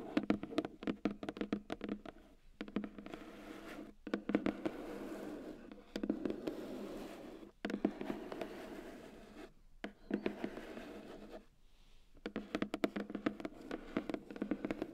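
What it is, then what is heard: Cardboard box scratched and tapped with fingernails. Long painted nails scratch and tap along the lid and edges of a white cardboard keyboard box, which is hollow with the keyboard inside. Bursts of quick, dry taps and clicks mix with a soft, continuous scratching hiss. The sound has a low-mid body and short pauses between passages.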